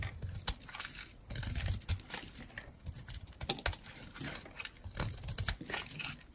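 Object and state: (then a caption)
Dry bar soap being carved. A metal blade carves crumbly flakes off one end of a solid, dry red-and-white striped bar of soap held in the hand. It makes a steady run of crisp, crunchy scraping and crackling with bright, brittle edges over a soft low rumble, punctuated by a few sharper snaps.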